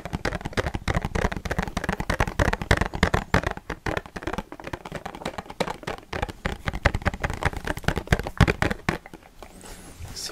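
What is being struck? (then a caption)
Small cardboard perfume box. A small, hollow blue Pepe Jeans cardboard perfume box, possibly with a bottle inside, is held in both hands and tapped quickly with fingertips and nails. The result is a dense stream of rapid, dull, hollow taps with short, dry attacks and little ring. The taps grow sparser and quieter toward the end.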